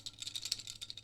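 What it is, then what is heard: Loose rattling plastic buckle. A loose plastic buckle on a Tomtoc T35 X-Pac sling bag is shaken close to the microphone, producing a quick run of light, dry, high-pitched plastic clicks and rattles with no low end. The rattle is a minor nitpick and isn't noticeable while the bag is worn.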